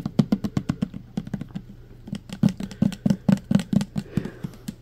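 Fingernails quickly tap and scratch the side and label of a full, clear plastic pump bottle of green hand sanitizer gel. The result is a rapid, uneven run of short, dull, hollow taps centered low around 200 Hz, with soft scratching in between and a faint steady low hum underneath. Each tap dies away almost instantly.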